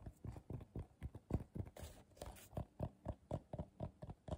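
Fingertips with short nails tap quickly on the base and sides of a medium, hollow, empty bowl of coiled colorful paper turned upside down. About 18 soft, dull, low-pitched knocks come in a loosely even, rapid run, each dying away almost at once, with a faint dry brushing sound in the middle.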